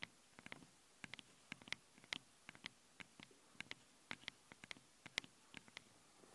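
Long blue-painted nails scratch the two small, hollow metal mesh capsule grilles on both sides of a handheld stereo recorder. The result is a quiet, irregular run of about 22 sharp, dry, high-pitched scratching clicks that stop instantly with no ring, each separated by near silence.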